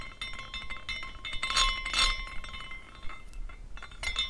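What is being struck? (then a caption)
Small glass carousel figurine. A small decorative glass carousel figurine is spun by hand, and its glass horses clink against the glass posts as it turns. The result is an irregular run of light, bright glass tinkles with a ringing tone around 1 kHz and short, fast-fading decays.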